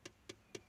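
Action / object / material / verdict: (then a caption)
knock / motorcycle body panel, sheet metal / sheet metal / metal. Three quick knocks on a metal body part of a Royal Enfield Shotgun 650 motorcycle give short, bright taps with a low tone near 360 Hz and almost no ring. The sound confirms the part is metal rather than plastic.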